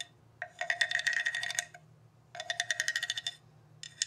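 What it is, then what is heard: Ridged bamboo tube instrument scraped. A hollow bamboo tube with ridged slats, resting on carpet, is tapped and scraped with a wooden stick mallet. Two runs of quick, bright wooden clicks and rattles ring at a fairly high pitch, separated by short pauses. A third run starts at the very end.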